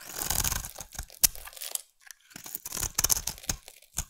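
A utility knife blade scrapes a solid green bar of soap held in the hand, shaving it into curls. Bright, crisp scraping and crackling come in uneven bursts, with a brief silent pause in the middle before the shaving resumes.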